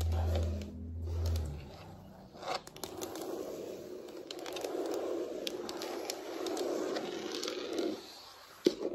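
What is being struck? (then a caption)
Wood-look floor surface. Very long acrylic nails tap and scratch across the surface of a large, solid wood-look floor, possibly laminate, with both hands on the floor. A low hum opens the clip, then a steady, dense scratching rustle with scattered light taps runs for several seconds. It fades briefly before a sharp final tap.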